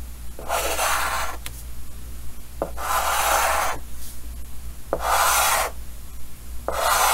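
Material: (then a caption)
Chalk. Yellow chalk held in the fingers scratches and rubs across a large, flat, solid painted chalkboard with a green frame while colouring. Four raspy, bright strokes of scraping come in bursts, separated by brief quiet gaps and small taps, over a steady low hum.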